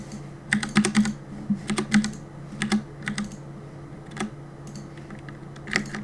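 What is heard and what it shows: Fingertips rapidly press the keys of a black plastic Cooler Master compact mechanical keyboard with a hollow body, resting on a wooden desk, while gaming. Quick clusters of sharp, bright clacks come in irregular bursts, each click dying away almost at once. A steady low hum sits underneath.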